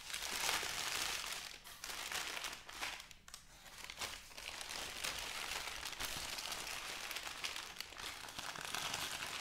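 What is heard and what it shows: Thin white crinkly wrapping paper is folded into a flat bundle, possibly around a soft item, while fingertips and long nails press and rub it. The result is a steady, dense, bright crinkling and rustling, with a brief quieter dip near the middle.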